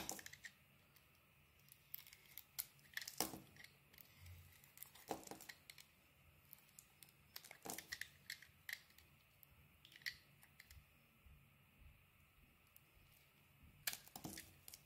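A metal utility-knife blade carves slices off a palm-sized, solid pink textured bar of soap with an orange inside, held in the hand. Quiet, crisp scraping and crackly cutting sounds come in short, bright bursts that die away almost at once. Several sharper snaps stand out between the softer shaving strokes over a faint, steady background hiss.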